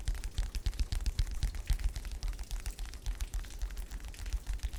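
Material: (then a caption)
Paper. Fingers tap rapidly on the aged paperback cover of an old 1940s mechanic shop manual found at an antique store. The soft, dull taps come in a quick, uneven stream with deep low thuds, over a steady hiss of rain and thunder. The old cover makes good tapping sounds.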